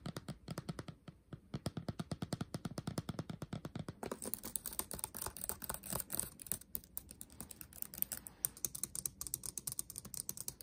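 Fingertips tap and type across a backlit laptop keyboard with black plastic keys, producing a fast stream of short, dry clicks with a soft, low thump. For about the first four seconds the taps come in a steady rapid run, then the typing turns brighter and more scattered, with a crisp high clatter continuing to the end.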